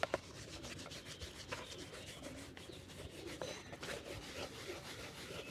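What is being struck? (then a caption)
Leather shoe. A hollow, empty brown leather slip-on shoe is held upright over a wooden board and brushed briskly with an orange-handled bristle brush. The result is a steady, airy scrubbing hiss with a bright bristly texture, opening with a couple of sharp ticks and then continuing as quick rubbing strokes.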